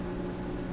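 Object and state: Nothing is struck.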